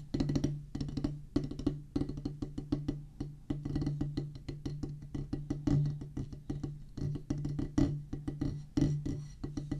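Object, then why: Rubber drum practice pad on a wooden base. A solid oval drum practice pad with a black rubber top on a pressboard/wood base is drummed with two wooden drumsticks. Quick, dense strikes give short, dry knocks with a low woody tone, clustering into fast rolls and accented hits.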